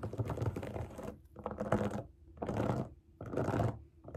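Long acrylic nails tap and scratch the bubbles of a large, round, rainbow silicone pop it fidget toy resting on a table. Four bursts of dense, rapid clicking and scraping are heard, each separated by a brief near-silent pause. The sound is full-bodied with a strong low end and a bright crackle on top.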